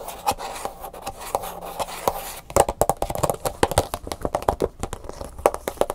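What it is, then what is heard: Plastic blister pack tapped and scratched. Long fingernails scratch and tap the back of a hand-sized clear plastic blister pack, a hollow clamshell with a printed cardboard insert holding an Angry Birds USB flash drive. Soft, steady scratching with scattered taps gives way to quick, crisp, hollow plastic clicks with a short ring around 800 Hz.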